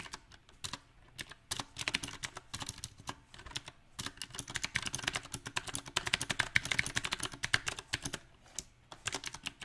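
Both hands type with their fingertips on a compact backlit mechanical keyboard with round plastic typewriter-style keycaps. The key taps are bright, crisp clacks that die out almost instantly, coming in uneven bursts of fast typing broken by brief pauses.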